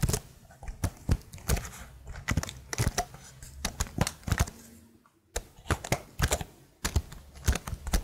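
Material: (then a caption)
Plastic. Long nails tap the plastic keycaps of a plastic laptop keyboard held upright, producing a steady run of quick, dry clicks with a soft low thump under each. The taps come in uneven bursts, with a brief quiet gap just past the midpoint before they resume.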